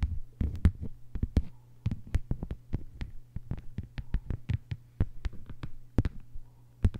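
Long white almond-shaped nails on both hands tap and scratch a thin, flat green plastic cutting mat lying on a table. The result is a quick, irregular run of short, dry clicks and faint scrapes over a steady low hum.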